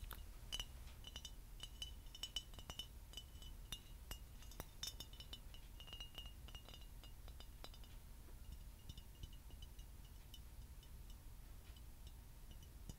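A tall, clear, empty glass bottle, hollow and held in the hand, is tapped and clinked with fingernails. It gives many quick, bright clinks with a steady high ring around 3 kHz, dense for the first eight seconds and then thinning to scattered taps over a low background rumble.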